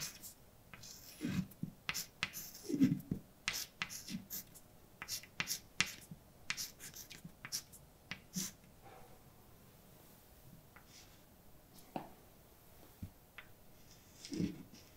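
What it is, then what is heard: Chalk writing on a blackboard. A hand writes with white chalk on a large dark blackboard, making scratchy strokes and sharp, clicky dash and dot taps. The bright, dry taps come in irregular bursts with quiet pauses, over a faint low background hum.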